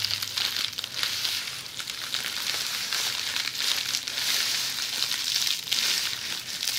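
Long polished fingernails scratch across a roll of red plastic bubble wrap lying on its side. The result is a steady, bright, crinkly scratching with crackling texture, concentrated in the high range with almost no low end.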